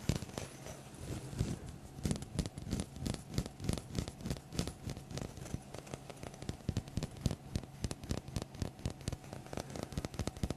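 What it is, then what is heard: Wooden block. A small, solid, light wooden block held in the hands close to the microphone is tapped and scratched with fingertips and nails. Quick, dry knocks and clicks come in an irregular, steady stream for about ten seconds, with soft scratching underneath. Each hit is short and mostly low and thumpy, with faint bright crackle on top.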